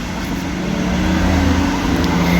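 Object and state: Nothing is struck.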